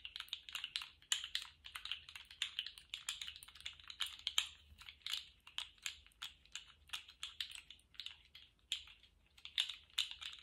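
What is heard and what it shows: A small rainbow-striped, jointed plastic articulated slug fidget toy is bent and wiggled in both hands, its plastic segments clicking rapidly. The result is a quiet, continuous run of short, dry, bright clicks centered around 3 kHz, with almost no low end and no ring.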